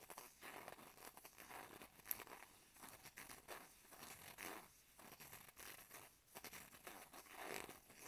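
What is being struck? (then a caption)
Plastic and aluminum foil blister pack. A small flat blister strip of antihistamine tablets, with foil backing and plastic blisters, is held in both hands while fingertips and short nails scratch and crinkle the foil. The result is a quiet, bright, dry crackling and crinkling that comes in bursts across the clip, with no ring after each scratch.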